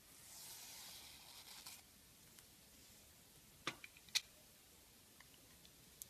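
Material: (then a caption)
Soap. A metal blade scrapes and carves slices off the surface of an oval, solid purple Timotei soap bar that is white inside and held in one hand. A soft, bright, hissing scrape fills the first couple of seconds, then fades to near quiet. Several short, crisp snaps and faint ticks follow as pieces cut away.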